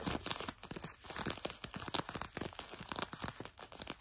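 Fingertips and nails scratch quickly over blue denim jeans stretched over a leg or knee close to the microphone, possibly with some light tapping. It sounds like a dense run of rapid, bright, rasping scrapes and crinkly bursts that stop dead with no ring.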